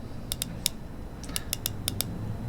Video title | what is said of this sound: Which is a Better Rolex Submariner Homage? - Tisell Submersible vs Tisell Marine Diver | you can hear how solid the click sound